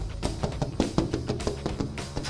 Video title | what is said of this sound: VLOG #7 [E46 REAR CLAM * E36 BONNET * OVERFENDERS* I'M FLAT OUT!!!] | it's all full contact to the mold still can't hear there's no hollow hollow sound or anything so this is still good